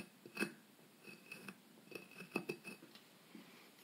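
A solid white plaster block about the size of a brick, from a dinosaur excavation kit, is held steady by hand and scratched and scraped with a small metal pick tool. Quiet, gritty scrapes come in about seven short, separate bursts, each with a bright, thin metallic edge and almost no ring.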